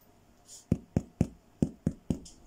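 A freshly baked homemade bread loaf, just out of the oven, is tapped six times on its bottom to check whether it sounds hollow. Each tap is a short, dull, hollow thud centered low around 200 Hz that dies away almost at once. The hollow sound shows the loaf is baked through and done.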